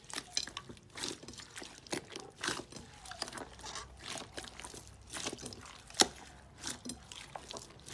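A large mound of green slime full of crunchy beads or jelly bits sits in a glass bowl and is pressed, kneaded and squeezed with fingertips and a fist. It makes bright, wet crunching and crackling bursts, with one sharp pop standing out near the six-second mark.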